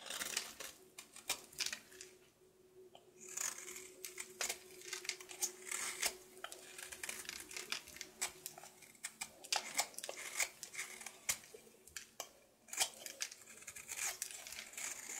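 A solid blue soap bar held in hand has its surface scraped and shaved with a knife blade. The result is a quiet, bright series of dry, crisp scrapes and short shaving strokes with very little low end, each one dying away almost at once.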